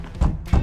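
Knocks on a properly fitted steel car door of a Honda Accord Hybrid, used as a reference for the normal sound, give dull, solid, low thuds. Nearly all the energy sits below 200 Hz and each knock dies away quickly, with no ring or rattle.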